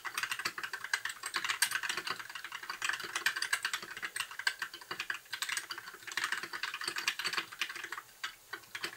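Fingertips of both hands type continuously on a compact white mechanical keyboard with backlit plastic keycaps. The result is a steady stream of crisp, bright clacks with a midrange click and almost no low end. Each keystroke dies away almost instantly, with small bursts of faster typing along the way.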